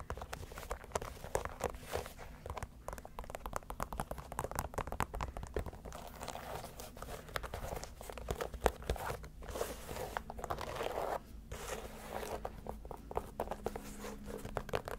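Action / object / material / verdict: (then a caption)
scrape / leather sneaker with rubber sole / leather / none. Long nails scratch the leather upper and sole edge of a single empty white leather Adidas Samba shoe with a gum rubber sole as it is turned in hand. The result is a dense run of quick, dry scratches and soft clicks over a faint low hum.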